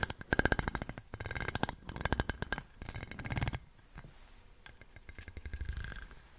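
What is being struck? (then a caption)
Ribbed glass bottle. A small light-blue plastic stick is scraped in quick strokes across the ribs of a large, dark, hollow, apparently empty ribbed glass bottle with a swing-top. Bursts of rapid, rattling clicks run together in rhythmic runs, with a low hollow body under them and a faint ringing tone. Quieter, sparser clicking follows toward the end.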